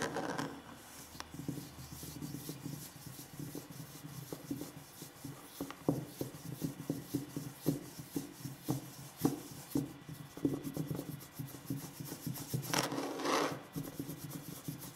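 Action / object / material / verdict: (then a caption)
scrape / wooden tabletop / wood / none. Curled fingers and knuckles rub and scratch across a large solid wooden tabletop, producing a soft, steady rasping texture. Short, dry knocks and taps punctuate it, with a low-mid woody body and little ring. A brighter, louder scrape rises briefly near the end.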